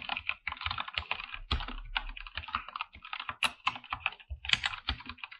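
Both hands type with their fingertips on a full-size backlit mechanical keyboard with PBT plastic keycaps, in a dark room. A quick, uneven run of bright, clacky keystrokes is heard, each one short and dry with almost no ring. A few keystrokes carry deeper thocks under them.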